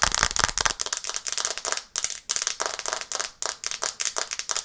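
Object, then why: Glass smartphone screen tapped with fingernails. Long red nails tap rapidly on the glass screen of a black smartphone held in both hands above a microphone. The result is a dense stream of sharp, bright clicks with almost no low end and very short decay, broken by two brief pauses before the tapping resumes.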